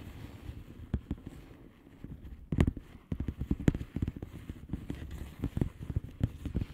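Long nails tap and scratch across the bubbles of a flat blue plastic bubble wrap envelope. The result is a quick, uneven run of short, dull, low-pitched taps mixed with soft scratching, each one dying away instantly with no ring.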